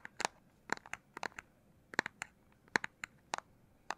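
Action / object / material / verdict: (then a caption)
tap / handheld game console, plastic casing / plastic / none. Fingers tap on the back of the plastic casing of a Nintendo Switch Lite handheld game console. The taps are short, dry and clicky, with no ring, and come at an uneven pace, often in quick pairs or triplets, over quiet background hiss.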